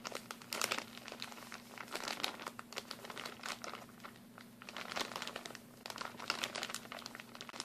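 A medium-size, partly full clear plastic packaging bag of mini glue sticks is crinkled and squeezed by hands. It makes dense, bright crackling and crinkling in uneven bursts, loudest near the start, around two seconds, and again past five seconds, over a faint steady low hum. Each crackle dies away almost at once.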